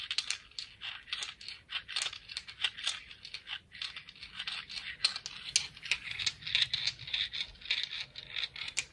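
A speckled "confetti" sea rock is tapped and scratched, giving a rapid run of short, dry, bright clicks and scrapes. The sound sits almost entirely in the high range, with no low thump and almost no ring after each hit.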